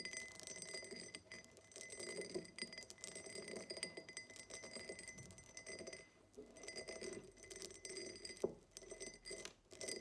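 Long acrylic nails tap and scratch the sides of a tall, empty, hollow diamond-pattern cut glass tumbler standing upright on a table. Quick, bright clicks and raspy scratches run almost continuously, each tap dying away at once over a soft glassy body near 375 Hz, with a short pause around six seconds.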